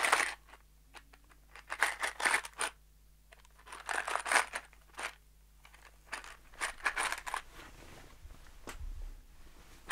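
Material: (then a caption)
Cardboard, metal. A small, hollow brown cardboard box held in one hand, with loose metal screws inside, is shaken and tapped with the fingertips. Irregular bursts of bright rattling and crinkly scraping come in clusters, separated by quiet gaps over a faint low hum.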